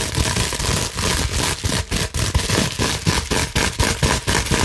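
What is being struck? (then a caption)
Plastic bubble wrap sheet. A clear plastic bubble wrap sheet is held in both hands while long nails scratch quickly across its small air bubbles. The result is a dense, crackling, broadband scraping noise with a deep low rumble and bright hiss, arriving in rapid, irregular bursts with short dips between strokes.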